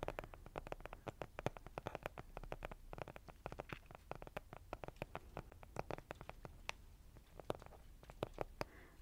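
A flat, rectangular, colourful Cheek Parade cardboard blush palette, hollow and closed, is held close to the mic and tapped and scratched quickly with fingernails. The result is a steady stream of fast, dry, hollow taps that die away almost instantly, with soft scratchy rustling between them, all at a quiet, close level.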